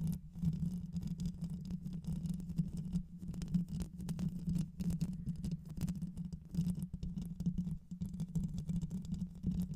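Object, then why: Metal mesh microphone grille. Long white nails on both hands scratch and tap across the top of a black microphone's hollow metal mesh grille, later moving lower on the mic. The result is a steady, dense stream of close, muffled scratching and quick taps, heavy and boomy in the low end with a constant hum-like tone near 176 Hz and almost no high detail.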